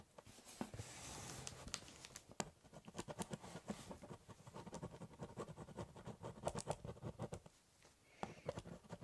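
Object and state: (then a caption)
Pen scratching on corrugated cardboard. A ballpoint pen scribbles, cross-hatches and doodles on the top of a large corrugated cardboard box. A quiet, continuous scratchy rasp in the first couple of seconds gives way to rapid, dry, short strokes with a hollow, papery low body and little ring. After a brief lull near the end, a few more strokes follow.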